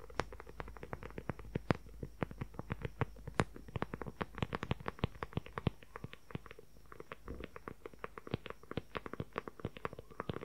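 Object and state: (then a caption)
Leather journal cover. Fingernails tap and scratch fast on a book-sized, dark brown leather journal cover with a strap closure. The result is a dense run of short, dry clicks with very little ring, soft and weighted toward the low end, over a faint low hum.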